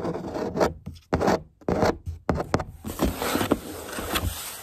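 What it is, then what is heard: Cardboard box. Long grey acrylic nails scratch and tap the side wall of a large, empty corrugated cardboard shipping box with printed labels. Short bursts of dry, raspy scratching are separated by brief silences, then give way to a continuous rubbing scrape dotted with sharp taps.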